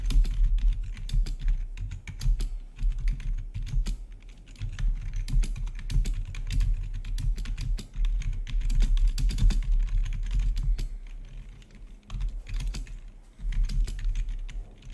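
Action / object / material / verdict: tap / plastic computer keyboard / plastic / none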